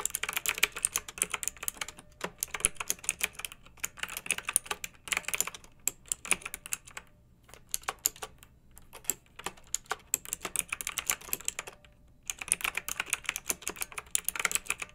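Long-nailed fingertips type on a pink mechanical keyboard with round retro plastic keycaps and blue backlight, resting on a fluffy rug. Rapid, bright, clacky plastic keystrokes come in dense bursts, broken by brief pauses of near silence.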